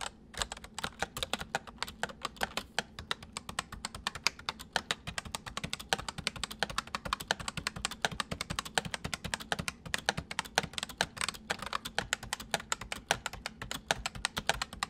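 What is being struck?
Plastic mechanical computer keyboard.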